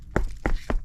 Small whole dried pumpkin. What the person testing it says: if you hear it it's very solid